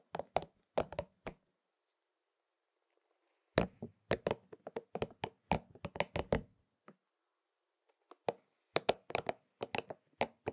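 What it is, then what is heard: Rubber spiky massage ball. Fingertips and short nails tap and scratch over the spikes of a palm-sized, hollow, pink and purple soft rubber spiky massage ball. Quick, dull, knocking taps with a faint scratchy texture come in three bursts separated by brief silences, each tap short and dry with a midrange body.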